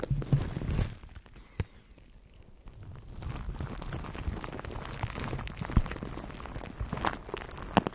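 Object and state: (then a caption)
Plastic cling wrap crinkled over a microphone. A microphone wrapped in clear plastic cling film is cupped in both hands while fingers squeeze and crinkle the wrap. This produces close, muffled, low-heavy crinkling and rustling with sharp crackling snaps. A quieter lull comes before the steady crinkling resumes.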